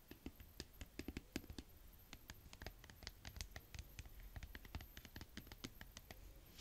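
A medium-sized purple plastic bottle of ready-mixed paint, apparently full, is held up and tapped and scratched with long fingernails. Quick, irregular clicks and soft taps run throughout, with dull low thuds under brighter crisp ticks. Each hit stops almost instantly, with no ring.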